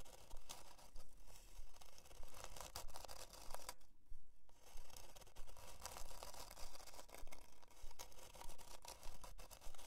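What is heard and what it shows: Long dark nails scratch a flat plywood heart-shaped plaque with a twine hanger as it lies on faux fur. The result is a steady run of dry, bright rasping strokes with a short pause near the middle.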